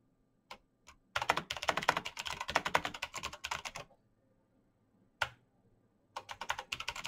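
Fingertips in fingerless gloves type fast on a black plastic mechanical keyboard with clicky switches. Two lone clicks lead into a dense run of sharp, bright keystrokes that stops short. After a pause and a single click, another quick burst of typing starts.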